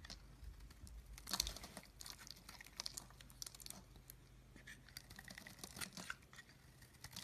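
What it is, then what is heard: Soap bar being shaved. A pink oval solid soap bar held in the hand is shaved into flakes with a utility knife blade. Quiet, dry, crisp scraping and crumbly shaving strokes come one after another, mostly bright and high with a faint low hum underneath.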